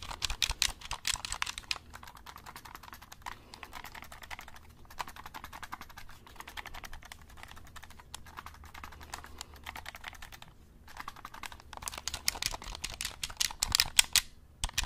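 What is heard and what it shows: A black plastic game controller is held close to the mic while fingertips click its buttons. A dense, rapid stream of short, bright, dry clicks runs throughout, louder at the start and in a flurry from about 11 to 14.5 seconds, with a softer stretch in between.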